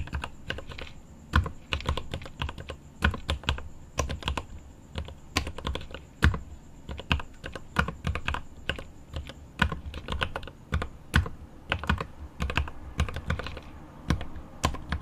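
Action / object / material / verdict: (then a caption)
tap / mechanical keyboard with plastic keycaps and aluminium case / plastic / none. Both hands type with their fingertips on the plastic keycaps of a mechanical keyboard with an aluminum case. The result is a steady stream of sharp, short clicks and clacks with a deep thock underneath and bright tops.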